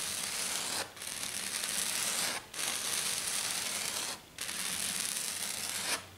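Long dark nails rub and scratch fast across a flat silver glitter sheet, likely glitter foam, in five long strokes. Each stroke makes a dense, bright, hissing scrape with almost no low end, separated by short quiet gaps.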